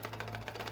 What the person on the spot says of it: I could shake this. You hear that empty space?